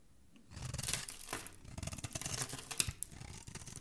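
A metal blade scrapes across a solid, palm-sized green bar of soap held in the hand, shaving curls off its surface. After a brief quiet start, there is a steady run of dry, crackly scraping that is bright and hissy on top with a soft low rumble beneath. A sharp click stands out near the end.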